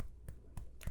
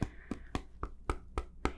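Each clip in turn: First: human skin, soft, dull knock. Second: hard flat table surface.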